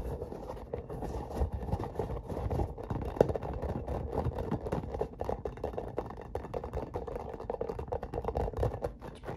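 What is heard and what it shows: A hollow, hand-sized translucent spiky rubber or plastic massage ball is scratched and tapped with fingertips and short nails. The result is a steady, dense stream of soft scratches and quick dull taps that stop short without ringing. The sound is muffled and low-heavy with a midrange tone and no bright highs.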